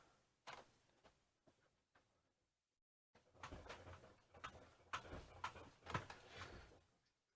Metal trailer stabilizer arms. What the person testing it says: it sounds like metal movement that's actually the strong arms since they're loose they're making noise